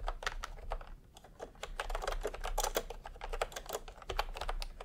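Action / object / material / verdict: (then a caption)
tap / plastic mechanical keyboard / plastic / none. Fingertips type steadily on a full-size retro keyboard with a peach plastic case and round, typewriter-style plastic keycaps. Quick, dry plastic clicks and taps, with a mid-range body, follow one another unevenly over a low background hum. There is a brief quieter lull near the one-second mark.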